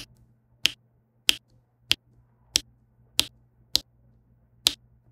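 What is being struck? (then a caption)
Plastic pen pressing resin drills onto adhesive canvas. A plastic diamond pen with a pink tip taps and presses small faceted resin drills down onto a flat adhesive diamond painting canvas. Seven short, bright clicks centered near 3 kHz land at uneven intervals with almost no ring, over a faint low steady hum.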